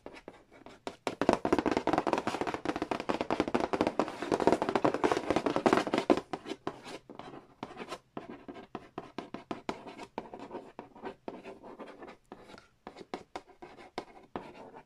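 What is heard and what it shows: Fingertips and nails trace, tap and scratch the lid of a large, flat, hollow cardboard Monopoly Nintendo edition board game box lying on a wooden floor. For the first six seconds, rapid dry tapping and scratching blend into a dense, papery rustle. It then thins into sparser, quick hollow taps with short scratches between them.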